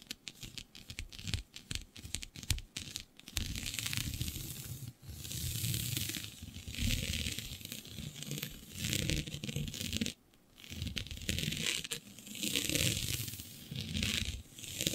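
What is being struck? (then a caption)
Synthetic stretch fabric sheet. Long nails scratch a flat sheet of black synthetic stretch fabric with a shiny dotted pattern. Quick, separate scratchy strokes give way to longer continuous rasping passes, broken by brief pauses. The result is a bright, hissy scraping texture over a low, soft rumble.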